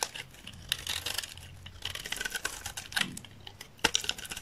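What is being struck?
Olive oil soap bar shaved with a knife blade.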